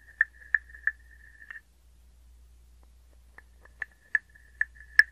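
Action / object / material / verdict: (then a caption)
tap / small hollow wooden frog guiro / wood / none. A small hollow wooden frog guiro resting on an open palm is scraped and tapped with a wooden stick. Sharp, woody clicks ring with a steady pitch around 1.7 kHz, linked by a faint rasping buzz. Two bursts of taps are separated by a pause of nearly two seconds, and the last click is the loudest.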